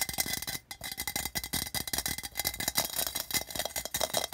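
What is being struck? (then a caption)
Printed metal tin can. Fast fingertip and nail tapping on the body of an empty, hollow, patterned printed tin can near the rim. It makes a rapid, continuous stream of light, bright metallic clicks with a faint tinny ring around 640 Hz. Each tap dies away almost instantly, leaving a busy, rattling texture.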